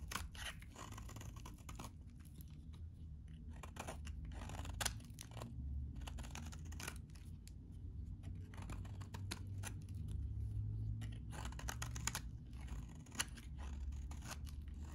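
A utility knife blade scrapes and shaves the edges of a solid, hand-sized, very dry vintage green soap bar. Quiet, crisp scratchy bursts and brief crunchy ticks repeat at an uneven, fairly quick pace over a steady low rumble. The bursts are bright but short, with almost no ring after each one.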